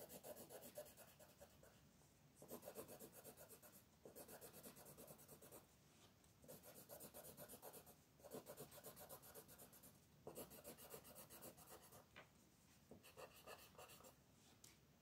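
A hand with long nails shades a thin paper coloring book page lying flat on a table, using a wooden colored pencil held at a low angle. Continuous rubbing and scratching strokes come in repeated bursts of bright, raspy hiss, separated by brief quieter pauses.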